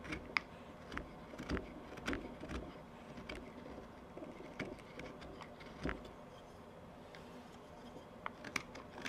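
A steel knife blade carves repeated short strokes across the surface of a small wooden tobacco pipe bowl held in the palm. Quiet, dry whittling scrapes and sharp, bright ticks come at an uneven pace over a low, steady background hiss.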